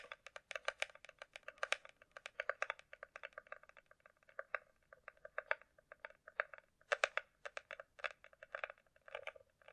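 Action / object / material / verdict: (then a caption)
tap / small hard plastic glasses case / hard plastic / none. A closed, small, hollow hard-shell glasses case is held and rapidly tapped with long nails on its top surface, with an echo effect added to the audio. Quick, irregular bursts of sharp, bright clicks carry a hollow tone around 590 Hz. Each tap dies away almost instantly, at a quiet level with no low rumble.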